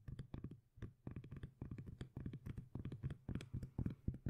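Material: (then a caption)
Cork. Long nails tap and scratch the face of a flat, round, solid cork disc lid with visible cork grain. The result is a rapid, uneven run of soft, dull, bass-heavy knocks mixed with brief scratchy rustles, each dying away almost at once.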